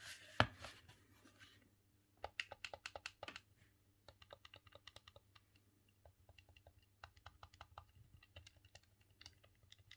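A green, hollow plastic Nintendo 64 controller is held in both hands while the thumbs press its face buttons and work the joystick. A loud knock and rustling open the clip, followed by quick bursts of sharp, bright plastic clicks over a steady low hum. The clicks fade fast, and later ones come softer and more spread out.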